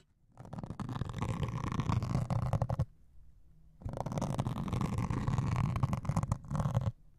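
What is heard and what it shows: A white melamine foam sponge with a grey scouring layer is held over microphones and scraped and poked with a metal needle. Two long bursts of dense, rough, crackly scratching are heard, heavy in the low end, with a brief quiet pause between them.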